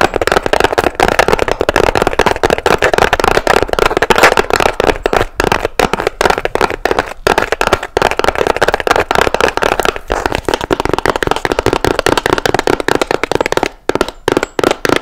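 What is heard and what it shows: Long nails tap fast on the blue fabric side of a small hollow box with a seashell-decorated lid. The result is a dense, continuous stream of dry, crackly clicks with very short decay, centred in the midrange. Near the end the tapping thins out into brief gaps.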